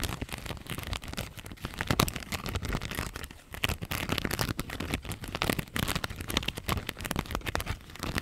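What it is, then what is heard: Plastic rhinestone sticker sheet. Long nails scratch and tap a thin clear plastic strip covered in pink flower rhinestone stickers. The result is a dense run of quick, crackly clicks and scratchy rasps across a broad range from low to bright, with a brief quieter gap midway before the tapping resumes.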